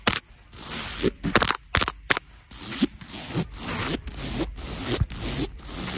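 Long nails scratch and tap across the rows of small black beads on a black beaded clutch bag. Bright, gritty scraping swells alternate with short, sharp clicking taps, each dying away almost instantly.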